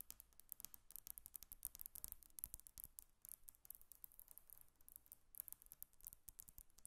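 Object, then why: Glass tabletop. A flat, solid glass tabletop is tapped with long acrylic nail tips on both sides of a microphone, which is not touched. Many rapid, quiet, bright clicks follow one another with almost no ring, over a faint low background hiss.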